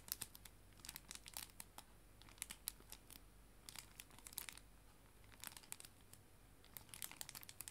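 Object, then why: Clear plastic cellophane sleeve. A clear plastic cello bag, a sleeve holding paper art prints, is crinkled with fingertips and nails. Quiet, bright, dry crackles come in irregular clusters over a low steady hum, with brief gaps between bursts.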